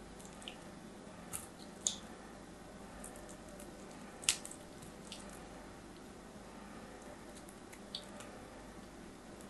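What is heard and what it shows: A solid orange soap bar is cut with a metal craft knife, peeling off curled slices. Soft, bright scraping and crisp shaving sounds are heard over a faint steady hiss, punctuated by a few sharper clicks, the loudest near the middle.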